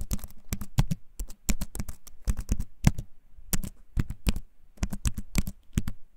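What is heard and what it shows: A compact keyboard with a wooden frame and clicky plastic keycaps is held up close and typed on with fingertips. Bursts of quick, crisp clicks come in uneven clusters, each hit dry and very short with a low thud under a bright tick.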